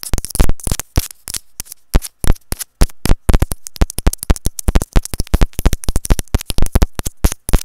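A small white hollow plastic inline microphone capsule on an earphone cable is tapped rapidly with long nails. The result is a dense run of short, dry, close-up taps with a heavy low thump and very little ring, coming in irregular quick bursts over about eight seconds.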